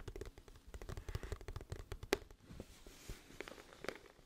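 A glossy cardboard music album case, hollow and flat, is held upright and tapped and scratched with long fingernails. Quick, dry clicks and taps come in dense bursts, with one sharper, brighter tap near the middle, over soft scratching and a low hollow body.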